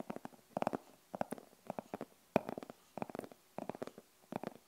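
Long acrylic nails scratch and tap along the top and face of a closed, hollow rigid glasses case with a printed denim-look fabric covering. The clip is a series of short bursts of quick, dry, clicky taps and scratchy strokes in the midrange, each dying away instantly and separated by brief quiet gaps.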